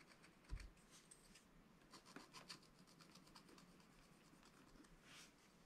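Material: Waxed paper.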